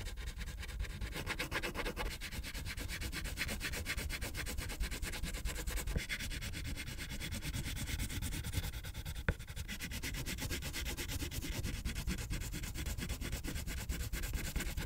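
A pink wax crayon is rubbed in rapid strokes across a thin white paper coloring page on a clipboard, densely filling it with color. The result is a steady, fast, scratchy rubbing with a low, papery rumble underneath and a bright grainy hiss on top. A single sharp tap stands out about two-thirds of the way through.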